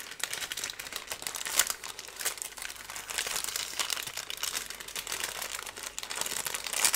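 A thin, light, twisted strip of brown kraft paper is crumpled, bent and rubbed with both hands and fingertips close to the microphone. Continuous dry crinkling and rustling fills the clip, bright and high with almost no low end. Louder crackling bursts come near the 1.6-second mark and again at the very end.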